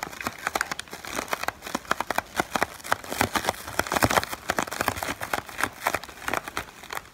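A small, clear, inflated plastic-film air pillow from cushion packaging is held close in the hand while fingertips crinkle and rub the film. The result is a dense run of sharp, bright crackles and crinkles, with very little low end.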